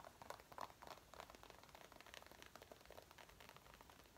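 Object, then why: Faux leather jacket. Long painted nails and fingertips scratch and rub the front panels of a worn dark brown faux leather jacket, near the waist and chest, on its soft, flexible material. The sound is quiet, rapid and irregular scratching and crackling, with bright, dry ticks centered around 1 kHz that stop at once with no ring.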